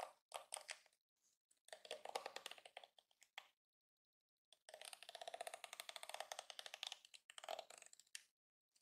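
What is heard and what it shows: Fingertips and nails flick and scratch across the many flexible yellow plastic bristles of a palm-sized yellow and pink plastic detangling hairbrush resting on a counter. Quick, dry plastic ticks and crackles come in rapid, bright bursts, centered around 770 Hz with no low end. The bursts are separated by short silences, with one long dense stretch in the second half.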